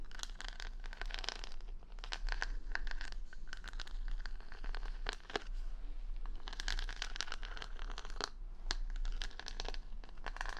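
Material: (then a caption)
Plastic. Long nails scratch the plastic rhinestone stickers covering the back of a wooden paddle hair brush, right next to the mic. The result is a steady, dense crinkling scratch full of quick bright clicks and ticks, with a low hum underneath throughout.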